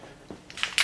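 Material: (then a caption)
Metal. A metal aerosol can of corrosion-block spray is shaken before use, and the mixing ball inside rattles against the can. Three bright metallic clicks are heard, getting louder, with very little low end and short ring. This is the normal rattle of the ball.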